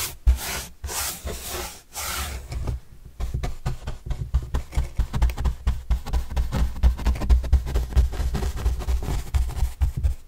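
A soft paintbrush is rubbed across a large white printed corrugated cardboard panel held upright. A few long, bright, hissing sweeps give way to a steady run of short, quick brushing strokes, each with a soft, low, papery thud. The strokes come in a loose rhythm and the scratchy rasp continues throughout.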